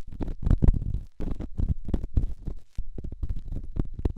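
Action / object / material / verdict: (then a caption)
scrape / rough stone against a silicone microphone ear / stone / none. A solid rough rock, held in the fingertips, is rubbed against a silicone microphone ear. The result is a series of deep, muffled scraping and rumbling strokes, mostly low with a faint bright edge, separated by two brief pauses.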